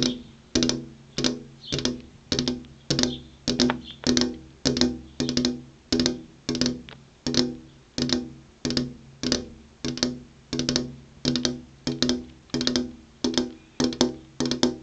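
Long purple-painted fingernails tap on a flat glass window pane with an insect screen behind it. The taps come in quick, irregular clusters, each a sharp, bright click with a short, low glassy ring around 250 Hz that fades within a fraction of a second.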